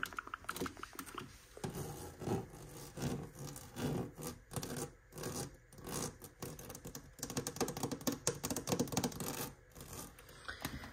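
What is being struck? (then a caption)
Ribbed aluminum storage case. Fingertips and nails tap and scratch along the ridged side of a hollow, ribbed aluminum storage case standing on a shelf. The result is dense, rasping scratches broken by quick taps in uneven bursts, with a low, hollow body beneath the grainy surface noise.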